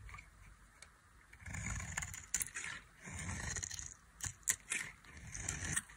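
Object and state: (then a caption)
Dry soap bar. A metal knife shaves thin curls from a dry, solid white soap bar with a red coating. Repeated bright scraping strokes swell and fade. Sharp clicks and ticks punctuate the strokes, and a low rumble rises with each pass.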